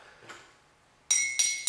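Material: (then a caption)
Glass. A glass bottle partly filled with water is tapped three times with a pencil, giving bright, ringing glassy clinks that decay quickly after each strike. This bottle holds more water, which lowers the tapped pitch, because the water inside changes how the vibrating glass rings.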